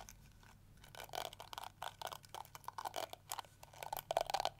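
Long nails scratch and flick across the yellow plastic bristles of a small, round, pink plastic detangling hair brush held in one hand. The result is a quiet, rapid series of short, dry, crunchy ticks and scrapes with a bright, crackly edge, growing denser and louder toward the end.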